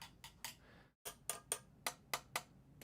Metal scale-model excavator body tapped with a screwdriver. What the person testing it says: I'll just tap it so you guys can hear that we are all metal.